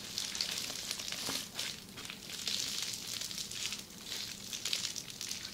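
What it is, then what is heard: Plastic bubble wrap being scratched. Long red-painted nails of both hands scratch across a flat sheet of red plastic bubble wrap lying on a table. The result is a steady, bright, crackling scratch that swells and eases in waves, with almost no low end.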